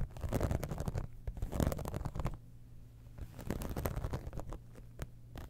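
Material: Faux leather.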